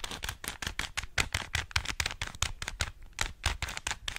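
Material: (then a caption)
Plastic. Fingers twist a small hollow plastic 3x3 Rubik's cube, turning its layers in a rapid, steady run of sharp clicks and clacks. Each snap is brief and bright, with a faint low thump underneath, and the turns follow one another closely throughout.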